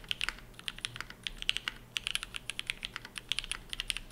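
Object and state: Mechanical keyboard with ABS keycaps.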